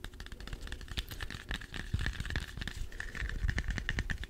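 A small, solid, whole green apple is held in both hands close to the microphone and tapped rapidly with fingertips and short nails. The result is a dense, continuous patter of soft, dull thuds with light clicky edges, over a faint steady tone near 2 kHz. The taps grow slightly louder toward the end.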